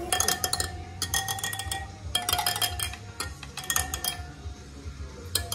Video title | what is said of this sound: Super Soco: Загнал байк в сервис! | Prueba el sonido de los radios. Cuando no están atornillados, se escucha otro sonido.